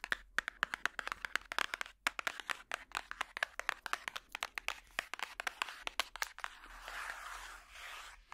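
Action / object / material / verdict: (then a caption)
tap / paper book / paper / none. A paper book is tapped with plastic finger picks, giving a rapid, uneven run of sharp, dry clicks with almost no ring. Near the end the taps thin out into a softer, hissy scratching sound.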